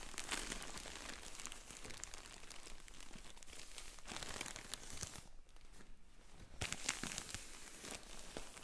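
Hands in black finger sleeves rub, squeeze and crinkle a sealed, filled yellow polyethylene shipping mailer with a paper label. The result is a steady run of bright, dense plastic crinkling and crackling, with a brief quieter stretch in the middle and what may be peeling or tearing from the label tape.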